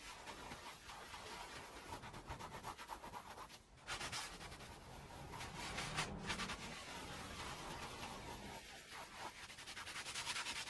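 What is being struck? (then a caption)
Woven fabric rug scrubbed with a plastic hand brush. A small green plastic hand brush scrubs in circles over a wet, soapy, small oval red fringed woven fabric rug on the floor. The result is a steady, bristly rubbing hiss that is bright and broadband, with a brief drop in the scrubbing just before the four-second mark before it resumes and builds slightly toward the end.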